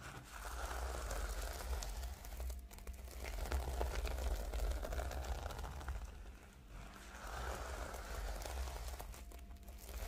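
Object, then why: Plastic sequin notebook cover. Long nails on both hands scratch and rub across the reversible pink and blue plastic sequin cover of a flat notebook. The result is a dense, crinkly rasp of sequins flipping, rising in two long swells with a brief dip between them. A steady low rumble sits underneath throughout.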